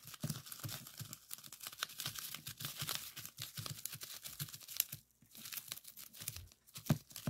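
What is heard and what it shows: A folded strip of clear plastic bubble wrap rests on a wooden table while fingertips press and pop its small air bubbles. The result is a dense run of sharp, crackling pops and crinkling with bright high-frequency snap and a soft low thump beneath, briefly pausing near the five-second mark before resuming.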